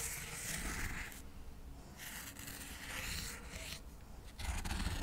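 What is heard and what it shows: Cotton swabs are rubbed and scraped quickly over a stack of square cork coasters, a solid flat material. The result is a soft, dry, bright scratching hiss that comes in uneven bursts of strokes over a low, dull rumble.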